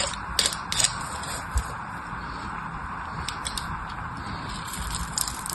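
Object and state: Bar of soap being carved.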